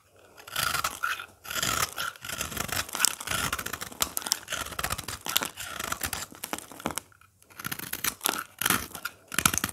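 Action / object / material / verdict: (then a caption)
scrape / soap bar shaved with a blade / soap / none. A craft blade scrapes and shaves the face of a solid, dry green oval soap bar with a powdery surface, held in the hand. Dense, bright crunching and scratchy shaving strokes run in bursts, with brief pauses near the start and around the seventh second, and each scrape stops dead with no ring.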